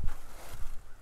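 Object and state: Nothing is struck.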